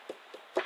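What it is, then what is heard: Secure car tail light, no rattle. Light taps on the repaired and treated left plastic tail light housing of a Ford Focus 3 give three short, dull knocks with no rattle, unlike the other tail light, which has not been fixed yet. The light now sits secure.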